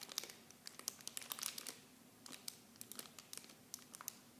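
The clear plastic wrap of a mini shampoo set is squeezed and crinkled with fingertips. The result is quiet, bright, dry crackles, with dense bursts of sharp ticks that thin out into scattered pops after a brief lull. Almost nothing sounds below the high range.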